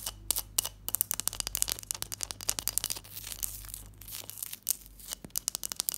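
An ice block, alongside a textured glass dish, is tapped and scratched. The result is a rapid, dense series of crisp, bright crunching and scraping ticks that stop sharply, over a faint steady low hum.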